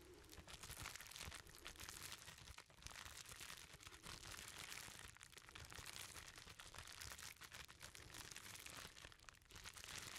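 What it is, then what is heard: Plastic bubble wrap bundle. Fingertips squeeze, rub and pick at a hand-sized bundle wrapped in clear plastic bubble wrap, its contents hidden. A dense, bright crinkling and crackling runs steadily and quietly for about ten seconds, with brief dips between bursts of rubbing.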